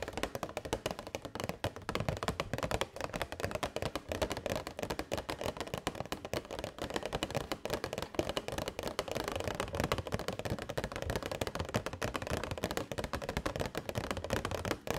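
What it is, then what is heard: Clear plastic box tapped with nails. Long white nails tap rapidly and continuously on a hollow, transparent plastic box holding purple fairy lights. The result is a dense stream of short, dry, clicky taps with almost no ring, carrying a hollow body around 340 Hz and a crisp, bright edge.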